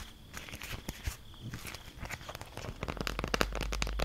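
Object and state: Beeswax food wrap.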